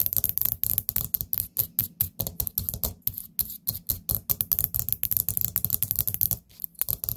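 Long acrylic nails tap and scratch rapidly on the gold stem lid of a small, hollow, orange glazed ceramic pumpkin-shaped candle pot. The result is a dense run of short, dry clicks with bright high-end sparkle and a low body, each dying out almost at once, broken by brief scratching passages.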